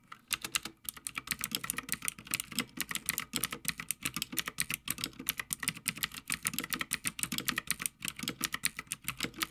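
Fingertips of both hands type continuously on a full-size backlit Havit mechanical gaming keyboard with plastic keycaps on a metal top plate. A steady, fast stream of bright, sharp clicks and clacks is heard, each stroke short with almost no ring, and little low end.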